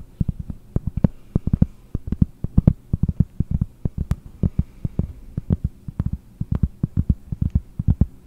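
Fingernails tap the back of a round, solid cork board, one hand reaching over the top while the other holds the board by the mic. A quick, irregular run of soft, dull, low thumps sounds over a faint steady hum, each tap dying almost instantly, with little high brightness.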